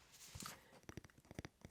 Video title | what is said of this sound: [ASMR] February Book Club 📚 - Soft Spoken | Spine has an interesting tapping sound. Sounds like wood.